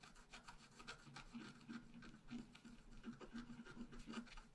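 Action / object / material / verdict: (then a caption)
scrape / scratch art paper sheet scratched with a wooden stylus / paper / none. A wooden stylus scratches a tree trunk and branches into a thin sheet of scratch art paper lying flat. The clip is a steady run of soft, dry rasping strokes with a faint low tone around 238 Hz beneath the scratching.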